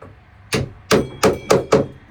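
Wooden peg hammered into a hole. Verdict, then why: Seated. A hammer taps a square wooden peg into a round hole with five sharp, separate knocks, each a short woody thunk with a faint tonal ring near 430 Hz that dies away quickly. The later taps sound firmer as the peg bottoms out, showing it is fully seated.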